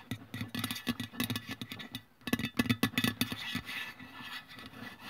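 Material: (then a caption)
Aluminium. Long press-on nails scratch and tap along the printed side of a white-and-blue Nivea aluminium deodorant spray can lying on its side on a wooden table. Quick, irregular taps give a short hollow metallic ping over bright, raspy scratching, broken by a brief pause. A louder run of taps follows before the clip fades into softer scraping.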